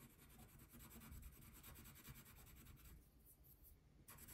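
A thin printed paper coloring page lying flat on a table is rubbed with a brown wax crayon held in the fingertips while coloring the basket. Quick back-and-forth strokes make a soft, steady, scratchy rasp with a low rumbling body and bright waxy grain. The scratching eases briefly near the end before resuming.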